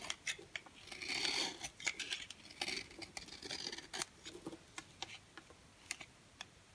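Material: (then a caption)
Soap. An orange striped bar of dry solid soap is held in the hand and scraped and cut with a green box cutter blade, breaking off crumbly flakes. The sound is a quick run of sharp, dry, bright clicks and crackles, with short bursts of gritty scraping between them. There is almost no low end, and each snap dies away at once.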